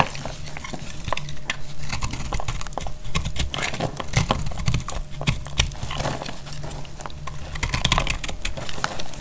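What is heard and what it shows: A solid, dry, speckled green-yellow soap bar is held in the hand and cut with a dark utility blade, its crumbly pieces breaking away. The sound is a steady run of dry scraping and crackly ticks, with sharp bright clicks over a low, soft thudding base.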